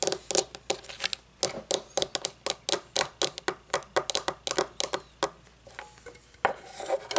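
Long fingernails tap a round, shiny metal candle lid on its rim and face as it is held and set down, making a quick series of bright, sharp clicks with a short metallic ring around 780 Hz. Toward the end the taps give way to a softer, continuous rustling scrape.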